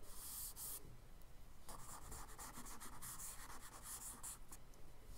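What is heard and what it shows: A charcoal stick tip scratches and scribbles short, rough strokes across a kraft paper sketchbook page. The dry, gritty rasps come in quick, uneven bursts of bright hiss over a soft low rumble and keep a steady, quiet level for about five seconds.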